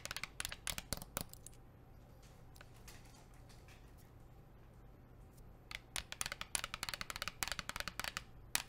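Long nails tap rapidly on a blue plastic sports water bottle with a printed label, making bright, sharp clicking taps that die away almost instantly. The tapping comes in a quick burst, pauses for a few seconds where only a faint low hum remains, then resumes in a longer run of taps.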